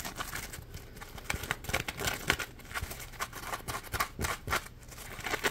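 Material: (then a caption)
Polymer foam. A yellow smiley-face Scrub Daddy sponge, a hand-sized piece of polymer foam, is held in both hands and scratched and squeezed with the fingers. The result is a steady run of quick, dry scratching and crinkly rasps, with bright, brief bursts standing out above a soft, continuous rustle.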